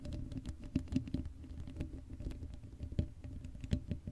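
Long acrylic nails scratch fast over the black hollow-dome metal mesh grille of a Blue Yeti microphone with no cover. The result is a dense, soft, low patter of rapid scratches and muffled taps, heavy in the lows with almost no bright content and a few slightly louder clicks.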